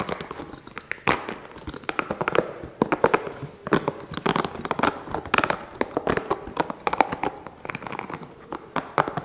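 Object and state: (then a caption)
Rubber spiky massage ball. A small, hollow, green spiky rubber massage ball is held in both hands and scratched and tapped quickly with the fingertips. A rapid, irregular stream of dry, short taps and crackly scratching follows, centered in the mids, with almost no low end and no ring after each hit.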